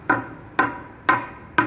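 Four sharp taps on concrete made from a high-grade (65-grade) powder-based mix, poured only the day before, as a sound test. Each tap gives a bright, short ringing knock centered around 1 kHz that dies away quickly. The strong sound marks solid, high-strength concrete that ordinary M20 concrete would only match after 21 days of curing.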